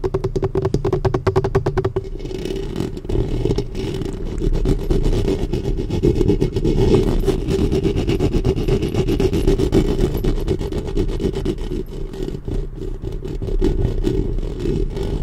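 Long painted nails scratch the metal mesh grille of a black studio microphone with both hands. A dense, continuous scratching and rubbing builds up with heavy low-end rumble, with quicker, choppier strokes at the start.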